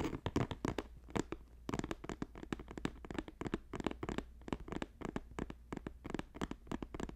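A medium, hollow, green square basket woven from flat plastic strips lies on a purple fur rug and is tapped quickly across its woven top with the fingertips and short nails of both hands. A rapid, uneven run of many short, dry taps with a dull low body and crisp clicky edges, each stopping almost at once with no ring.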